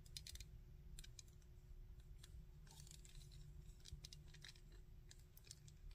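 Fingertips and nails tap and scratch the front, back and arms of a hard plastic Sandman action figure. Quick, dry, bright clicks and scrapes come in clusters over a steady low rumble.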